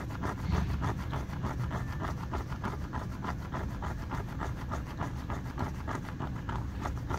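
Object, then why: Rubber shoe tread. Fingertips scratch and rub over the ridges of a yellow and blue rubber running shoe sole. The result is a steady run of quick, dull, scraping strokes, about three to four per second, with a low, muffled body.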